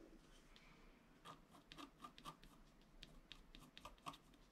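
A wooden stylus scratches a flat, black-coated scratch-art card lying on a table, making many short, dry scratching strokes. The faint, irregular rasps are quiet and brief, with bright hiss and a slight tonal edge around 1.1 kHz, over a soft background.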